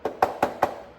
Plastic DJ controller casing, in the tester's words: it sounds hollow